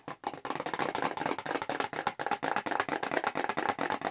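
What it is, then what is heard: Cardboard box tapped with fingernails. Long pink acrylic nails tap fast on the front of a small, hollow red Clinique paperboard cosmetics box held in both hands. About 23 quick, dry clicks come in a steady rapid run, each with a hollow, papery midrange knock around 650 Hz, almost no low end and very short ring.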